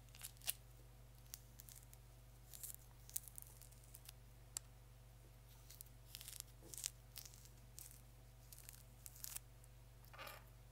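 Fingertips and nails dig into and peel the skin of a small whole orange held in both hands, giving quiet, bright tearing and scratchy crackles in short scattered bursts. A steady low hum runs underneath throughout.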